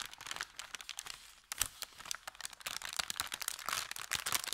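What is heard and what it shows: An empty, thin kraft paper bag with a red logo is bent and crinkled in both hands above felt. The result is dense, bright crinkling with rapid sharp crackles and almost no low end.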